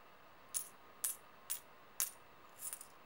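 A few solid metal coins are gathered into an open palm and jingled against each other in the hand. Four short, bright metallic clinks arrive about half a second apart, then a looser cluster of jingles closes the clip. Each chink decays almost instantly over a quiet hiss.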